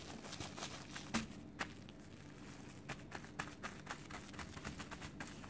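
Fingertips and nails of both hands tap rapidly on clear plastic wrap stretched over a solid ball of cooked white rice resting on a wooden table. A quiet run of soft, crisp ticks and light crinkles plays over a low steady hiss, with a few sharper taps standing out.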